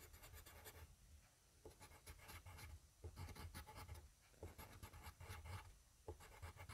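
A yellow wooden graphite pencil, held in the fingertips, scribbles and scratches back and forth on a flat sheet of grid paper lying on a desk, beside a small microphone that is not touched. The result is quiet bursts of dry, bright scratching strokes, each rising and fading over a low, dull rumble.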